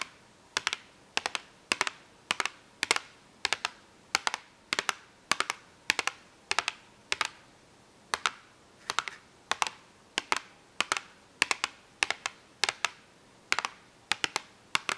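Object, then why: Small printed cardboard box with markers inside. Long nails rapidly tap and scratch the printed lid of a small printed cardboard marker box, which is hollow with markers inside. Crisp, bright clicks come in quick clustered bursts at a steady rhythm of roughly two per second, each dying away almost instantly with no ring and no low-end thump.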